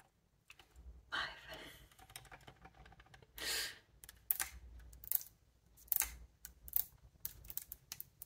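Fingertips and long nails tap and press the silver metal keys of a large, hollow upright wooden bassoon. Quiet, irregular clicks and sharp, bright taps scatter throughout, with a couple of softer, longer swells of brushing noise between them. Each tap dies away almost instantly.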